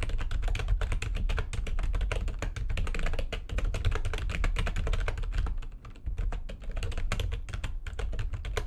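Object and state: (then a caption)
Plastic computer keyboard being typed on. Fast typing with long nails and fingertips on a full-size plastic computer keyboard with white backlighting and a hollow housing. It produces a dense, continuous stream of quick, dry clicks over a heavy low thump, each stroke dying away almost instantly. The pace eases briefly around six seconds before picking back up.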